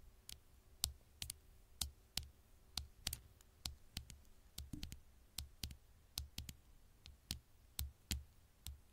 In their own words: 6:15 - 6:49 super slow tapping on the screen